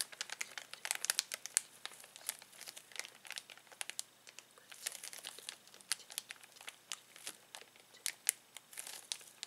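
Fingertips press and rub a clear plastic zip bag filled with plastic toys. Dense, bright crinkling and crackling runs through the whole clip, made of many quick, sharp snaps with almost no low end.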